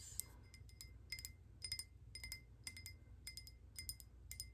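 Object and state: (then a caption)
Glass candle holder. Long painted nails tap and lightly scratch a hand-sized, hollow, speckled glass votive holder with a lit candle inside while it is held. The result is a quick, uneven run of bright glassy clinks with short ringing tones near 2 kHz and higher, over a steady low rumble.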